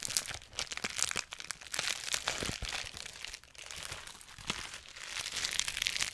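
A large, clear plastic bubble wrap sheet is held close to the microphone while fingertips and nails pinch, pop and crinkle its air bubbles. Dense, bright crackling and sharp little pops come in quick, uneven bursts, with almost no low end.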